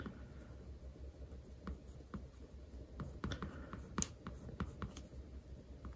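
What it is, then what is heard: Paperback textbook with glossy cover. A scatter of quiet, very short clicks and light scratches, each dying at once with no ring, over a low steady hum. A pen tip is dragging and tapping across the laminated cover of a thick paperback, a dry, dead surface.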